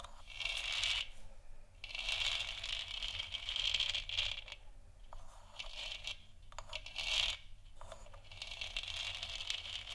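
Long nails scratch and tap the sides of a lit, hollow plastic moon lamp sphere. The result is a steady, bright scraping texture centered near 3.2 kHz, broken by brief quieter pauses and scattered light taps.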